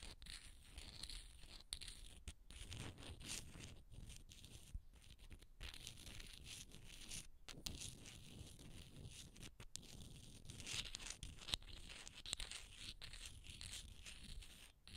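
A small, hollow, ridged seashell, roughly palm-sized, is held in the fingers and scratched and rubbed with short fingernails. The result is a steady, dry, bright scratching and rasping, close to a tearing texture, broken by brief pauses.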